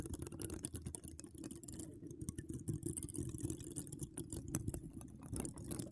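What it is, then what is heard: Metal mesh microphone grille being scratched. Long acrylic nails decorated with donut charms scratch across a hollow woven metal mesh microphone dome, heard up close. A dense, steady stream of soft scratchy ticks and rustles carries a heavy low rumble underneath, with brief bright crackles flicking over the top.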